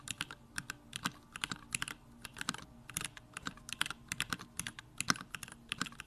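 A compact Bakeneko65 mechanical keyboard with a pink case, Durock lavender switches and plastic keycaps is typed on continuously with the fingertips. A rapid, uneven stream of short, bright clacks, each dying away almost instantly, sits over a faint, steady low hum.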